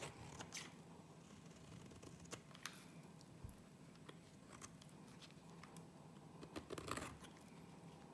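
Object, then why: Bar of soap. A gold utility-knife blade scrapes and cuts thin shavings off a solid, rectangular, light-green bar of soap held in the hand. Quiet, dry scraping and crackling is broken by sharp, bright ticks and short crisp cuts. Soft rumble sits underneath throughout.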